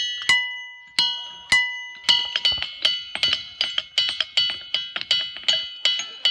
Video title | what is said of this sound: 카메라가 포착한 설명 불가의 순간들 33가지 | 세계 일부 지역에는 두드리면 종소리처럼 울리는 돌이 존재합니다.이 돌은 다이아베이스라고 불리며